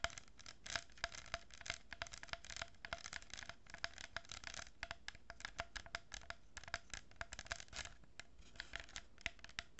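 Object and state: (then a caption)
Cardboard tube with plastic beads, scratched and tapped. Long nails scratch and tap a hollow cardboard tube lined with a row of plastic pearl beads, held horizontally. Quiet, dry scratching is broken by many quick, crisp taps that cut off almost instantly, with a bright rasp and a faint steady tone near 680 Hz.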